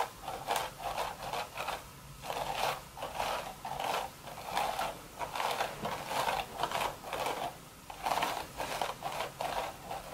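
Long red nails scratch across the weave of a hollow, empty woven straw hat crown in repeated short strokes. Each stroke gives a dry, rasping scrape centered in the mids around 700 Hz with bright, high crackle on top, separated by brief quiet pauses.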